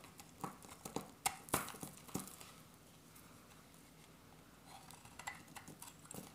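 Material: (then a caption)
Soap. A metal utility-knife blade carves an oval, solid, dry soap bar with its beige interior exposed, making repeated scraping and shaving cuts. Quiet, crisp, bright scrapes and snaps come in an irregular cluster over the first two seconds. A near-silent lull follows, then a softer run of shaving cuts closes the clip.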